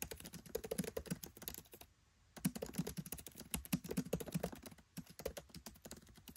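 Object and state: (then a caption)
Laptop keyboard typing. Fingertips type rapidly on a MacBook Pro 13 keyboard with black plastic keycaps set in an aluminium body. A quick run of short, dull key taps carries a low thump, pauses briefly just before the 2-second mark, then continues steadily to the end.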